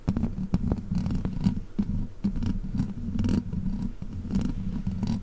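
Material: Metal mesh.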